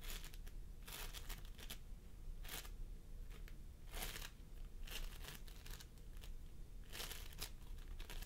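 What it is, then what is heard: Floam sculpting foam being squished. Fingertips of both hands press and squish a pastel mound of floam sculpting foam made of polystyrene beads on a wooden table. Irregular bursts of bright, sticky crinkling and crackling rise over a steady low hum.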